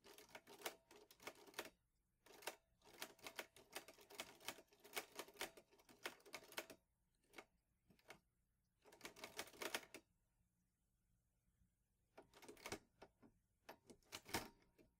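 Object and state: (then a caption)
Metal portable typewriter. Fingertips type on the keys of a vintage teal metal Underwood Olivetti Lettera 22 portable typewriter with paper loaded. Bursts of rapid, bright, sharp key clacks come in quick runs separated by short silent pauses, each strike dying away almost at once.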